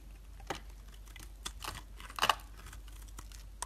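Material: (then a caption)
Soap. A metal utility blade scrapes across a solid white bar of soap held in the hand, shaving off thin curls. Short, dry, crisp scraping and crunching bursts with bright high edges and almost no ring; the loudest crunch comes near the middle, over a quiet low background.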